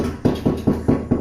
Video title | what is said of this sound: Bathroom Remodel - Shower, Floor Tile, Cost Estimate | right now you can hear it's not sitting on that wax ring it's sitting on the ground